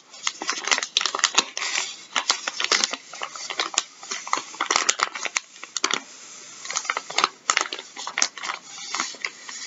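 Gloved fingertips scratch, tap and pick at the label of a full, soft plastic packet of wet wipes resting on a wooden table. The result is a dense run of bright, crinkly scratches and quick, sharp taps with almost no low end, each sound stopping abruptly.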